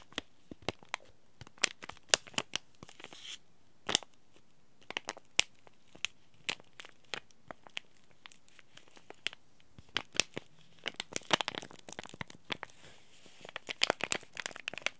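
A small green laminated plastic-foil tea bag packet is crinkled by the fingers and rubbed with the fingertips and nails. The result is quiet, bright, sharp crinkles and dry crackles with almost no low end and no ring. They come as scattered snaps at first, then denser bursts toward the end.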